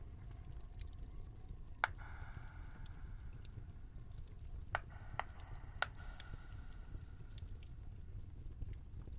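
Fingertips press and tap the hollow bubbles of a round, flat, multicolored silicone pop-it fidget toy held close in both hands, making soft squishy patter with a few sharper pops that briefly ring at about 1.5 kHz. A steady low rumble sits beneath the quiet tapping throughout.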